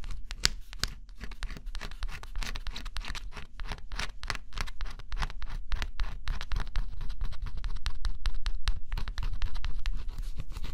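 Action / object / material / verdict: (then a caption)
scrape / coated thin cardboard scratch-off jigsaw puzzle / coated cardboard / none. A stylus held in the fingers scratches the black coating off a flat, thin coated-cardboard scratch-off jigsaw puzzle. Quick, dry scratching strokes come in an uneven rapid rhythm, each a short bright rasp over a faint low rumble, growing slightly louder toward the end.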